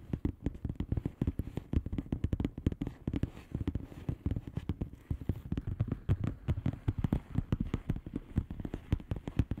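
Long polished nails on both hands tap rapidly on the bubbles of a flat, hollow plastic bubble-wrap mailer lying on a surface. The result is a steady, dense stream of quiet, dull, low clicks with very short decays and almost no bright content.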